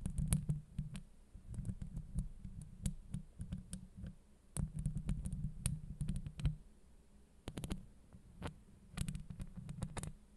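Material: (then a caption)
Steel. Long acrylic nail tips tap and scratch the top of a steel mesh microphone grille, producing rapid, dense taps. Each tap is a deep, muffled thump with a faint bright click on top. The taps come in bursts over a low, steady hum.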